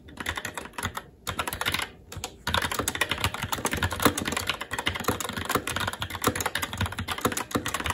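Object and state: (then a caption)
Mechanical keyboard being typed on. Fingertips of both hands type rapidly and continuously on a SteelSeries Apex 7 TKL mechanical keyboard with red linear switches, black plastic keycaps and an aluminum plate. The result is a dense stream of sharp, clicky key taps with short, quick-decaying clacks, broken by two brief pauses in the first two and a half seconds before the typing runs on steadily.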